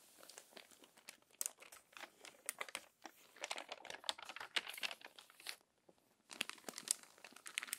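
A page of an open, crumpled paper magazine is turned, then long-nailed fingers rub and smooth the crinkled paper. The result is many bright, dry crinkles and crackles, with a short quiet gap before the rustling resumes.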